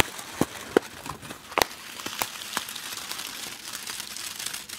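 A small yellow printed plastic snack wrapper is held against a grey microphone windscreen and crinkled and rubbed with fingers. Bright, crackly crinkling runs throughout, with a few sharper snaps standing out early on over a steady rustling texture with little low end.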